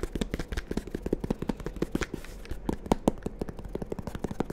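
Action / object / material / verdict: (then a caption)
tap / fabric-covered hard-shell zip case / fabric, hard shell / none. A small, closed, hollow black hard-shell carrying case, fabric-covered and zippered, is held in both hands in front of the microphones and tapped and scratched with the fingertips and short nails. The result is a rapid, uneven run of short, dry, muffled taps with a low hollow thump around 220 Hz, mixed with soft scratching. Each tap dies away almost instantly.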